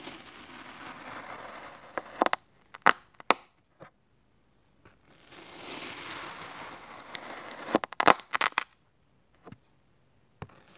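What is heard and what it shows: A yellow plastic spatula blade repeatedly slices through a solid cylinder of orange kinetic sand resting on a red surface. Two long, soft, hissing scrapes are each followed by clusters of sharp, dry, crumbly crackles and clicks, with short silent gaps between cuts.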